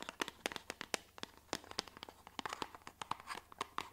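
Long fingernails tap rapidly on a small, hollow white cardboard box held in the hands. About two dozen quick, dry clicks come in an uneven rhythm, each sharp and bright with almost no ring, over a quiet background.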